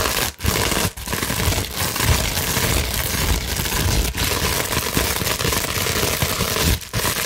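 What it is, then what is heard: Plastic bubble wrap sheet. A clear plastic bubble wrap sheet is scratched with long nails, producing a continuous dense crackling and scraping texture across a broad range from low rumble to bright hiss. Brief quiet gaps break the steady scratching every so often.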